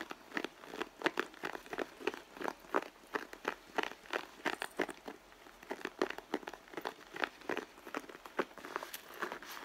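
Long nails scratch and tap along the side of a red pebbled-leather handbag, then fingers rub the leather. A rapid, uneven series of short, dry, crinkly scratches and taps is heard, mostly mid-pitched with a little brightness, no low rumble and almost no ring after each stroke.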